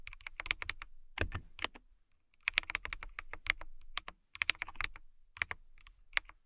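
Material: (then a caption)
Plastic. Fingertips with long nails type on a clear plastic mechanical keyboard with transparent keycaps and case, producing bursts of rapid, bright clicky key taps separated by short pauses. Each tap is sharp and dry with almost no ring, its energy centered in the upper mids with high clicky edges and a light low thump.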